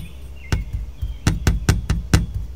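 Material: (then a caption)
Chrome-plated metal. A loose louvered chrome-plated metal vent grille, set over a hollow opening in the yellow hood of a 1973 Corvette, is pressed and tapped by fingertips so its thin slats rattle against the body. There are seven short, dull knocks with a brief bright click at each strike, and most of the energy sits low over a steady low background hum.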